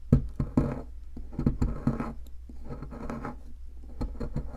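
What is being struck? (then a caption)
Plaster dig block. A metal pick scratches and chips at the powdery center of a solid, palm-sized white plaster fossil dig block. The clip is a run of short, dry scraping and chipping sounds, low and muffled with little brightness. Brief louder clicks stand out from a steady scratchy texture.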